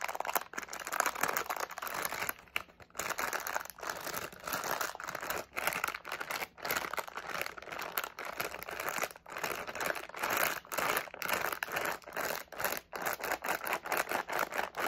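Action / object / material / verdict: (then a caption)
shake / flexible plastic candy pouch with candies / plastic / none. Fingers rapidly crinkle, squeeze and shake a medium flexible plastic SweeTARTS candy pouch partly filled with candies. The result is a dense, continuous stream of crisp plastic crackling and rustling, centered in the mids with a bright top and almost no low end. Brief gaps break up the stream.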